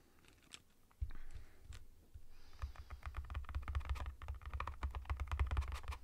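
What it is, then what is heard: Cardboard chip can tapped with fingertips. Fingertips and nails tap rapidly and unevenly on the side of a sealed Pringles Roasted Red Pepper cardboard tube with a plastic lid, standing on a table or held in hand. After a quiet first second, a stream of short, dry, hollow taps sets in, with a deep low thump around 66 Hz under each one and faint brighter clicks from the nails.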